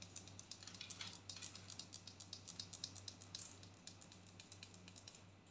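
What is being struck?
Filled plastic tub with ridged lid.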